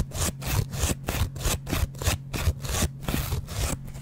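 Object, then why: Foam kitchen sponge with scouring pad. A yellow foam kitchen sponge with a green scouring backing, held in the hand, has its foam side repeatedly scratched and scraped with a metal double-edge razor blade close to the microphone. About twelve rasping strokes come in a loose, uneven rhythm, each a bright, hissy scrape over a soft low rumble from the handling.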